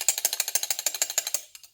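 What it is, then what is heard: Loose rattling fuel pump arm. A brand-new Carter mechanical fuel pump is shaken by hand, and its loose metal arm rattles loudly in a rapid series of sharp, bright metallic clicks that trail off at the end. The arm has slack because the pump lacks the secondary spring that holds it in tension against the eccentric. This is not normal and is the source of a ticking or knocking noise at idle.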